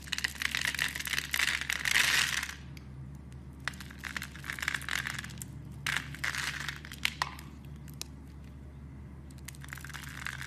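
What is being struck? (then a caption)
Bar of soap. A utility knife blade scrapes cubes off a solid, palm-sized dark brown bar of soap scored in a grid, and the cubes crumble away. The result is bursts of dry, crisp scraping and crumbly crackling centered around 2 kHz with bright edges, separated by quieter pauses. A steady low hum runs underneath throughout.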